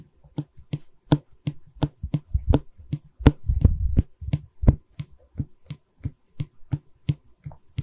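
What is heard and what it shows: A solid pine stretcher bar of a wooden canvas frame, held in both hands, is tapped and scratched with long red nails. Dull, low knocks with a thumpy body come at an uneven pace, with a denser burst of rubbing and scratching in the middle and very little high-end.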